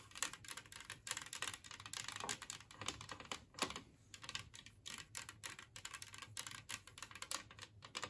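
Long nails tap rapidly on a large glazed ceramic Christmas tree-shaped serving plate lying empty on a table. The result is a dense stream of quiet, bright, clicky taps that die away almost instantly, with a hard ceramic tone centered around 1.8 kHz.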